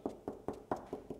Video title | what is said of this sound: What are house walls actually made of? | here we've got a dab of plaster behind the wall